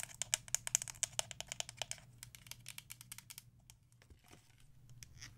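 Long acrylic nails tap and scratch a small black DecoArt Crafter's Acrylic paint bottle, a plastic bottle of about 118 ml that appears full and is held in the hand. A quick run of sharp, bright clicks with almost no ring comes first, then thins into softer, quieter taps and light scratching toward the end.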